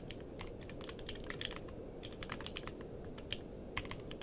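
Fingertips type steadily on a compact mechanical keyboard with a purple case and plastic keycaps. The result is a rapid stream of short, crisp key clicks with bright edges centered around 3 kHz, over a constant low, noisy hum.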